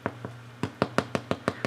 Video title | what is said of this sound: Pain traditionelle avec Anne Jisca Meyer | Ça sonne comme si c'est vide à l'intérieur. C'est une bonne manière de savoir si le pain est prêt.